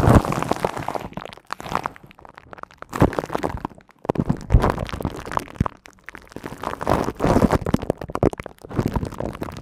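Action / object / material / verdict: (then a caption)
scrape / woven metal mesh microphone grille / metal mesh / none. Long nails scratch the hollow silver woven metal mesh head of a studio microphone, producing dense, rumbling, scratchy bursts heavy in low frequencies that come in waves with short quiet gaps. Near the end, a sweater sleeve partly covers the hand as the scratching continues.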